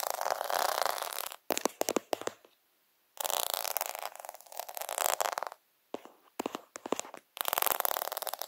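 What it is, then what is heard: Plastic faux pearl sticker sheet. Several fingertips rub and scratch across the bead rows of a plastic faux half-pearl sticker sheet. Bursts of dense, bright, gritty scraping and rapid clicking are broken by short silences, with no low-end body.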